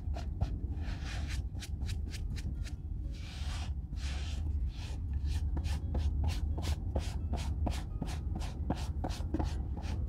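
A hollow brown leather Red Wing Weekender chukka boot, held in one hand, is wiped and rubbed with a white cotton cloth while being re-oiled. Brisk, repeated swishing strokes of cloth on leather come in a steady rhythm, soft and bright, over a constant low hum.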